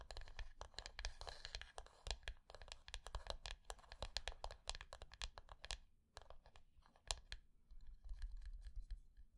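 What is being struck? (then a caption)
Small closed wooden box. Long fingernails on both hands tap quickly and scratch across the closed lid of a small, rectangular, hollow wooden box resting on dark cloth. The result is a dense run of sharp, dry clicks with bright scratchy texture and a soft low hollow undertone. Each tap dies away almost at once.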